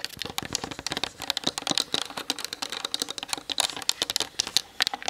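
Long nails tap fast on the hollow plastic body of a Canon DSLR camera mounted on a tripod. The result is a rapid, continuous stream of sharp, bright clicks that die out instantly, with almost no low end.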